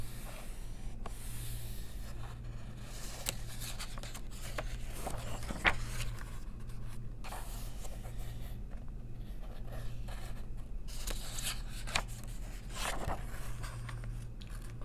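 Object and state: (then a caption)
Paper coloring book. Long nails trace the line art in an open paper coloring book and turn its pages, making soft scratching strokes and brushing page flips with a few sharper ticks. A steady low hum runs beneath the quiet paper sounds throughout.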